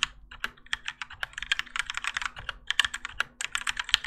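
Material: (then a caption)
ABS plastic. Continuous fingertip typing with both hands on a Keychron K4 compact mechanical keyboard with Gateron Yellow switches and grey and orange ABS plastic keycaps, its plastic and metal case resting on a desk mat. A fast, uneven stream of short, bright clicks and clacks lands with very little low end, and each keystroke dies away almost instantly.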